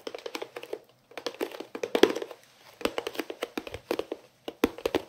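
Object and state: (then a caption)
Hollow plastic storage case. A hollow, elongated white plastic storage case with a green lid and printed fruit pattern is held in both hands and tapped and scratched with fingertips and nails. The result is rapid bursts of dry, hollow clicks and taps with a mid-range resonance near 400 Hz. Brief pauses separate the bursts, and there is no ring after each hit.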